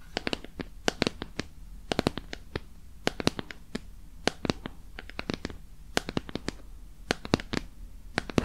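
Long painted nails scratch and tap over the surface of a small glowing pink bear-shaped silicone night light, a hollow lamp shell held in the hand. Dozens of sharp, dry clicks and brief scratches fire in irregular clusters, each bright and very short with almost no ring, over a faint low hum.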